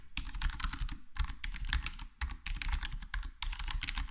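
Fingertips of both hands type on a full-size black plastic HyperX Alloy Core gaming keyboard with square plastic keycaps and a foam-dampened case. The result is a steady patter of soft, muted key taps with a deep low thump beneath bright clicky edges. Brief pauses occur between bursts.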